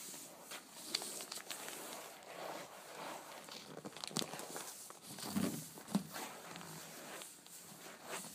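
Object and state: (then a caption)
Gift-wrapped cardboard box tapped and scratched with nails. Long blue nails tap and scratch the top of a closed, hollow, flat rectangular cardboard candy box wrapped in glossy checkered paper. Quiet, dry scratching and crinkly rustling run throughout, broken by a few sharper clicks with almost no ring.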